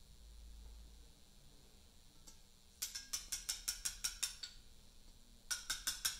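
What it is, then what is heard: Portland limestone memorial block being letter-cut. A carver taps a chisel with a round mallet along the top edge of a large solid Portland limestone memorial block, after a quiet stretch with one faint tick. About fifteen sharp, bright clicks follow in a quick, slightly uneven run, with a short pause before the last few. Each click is crisp and dies away almost at once.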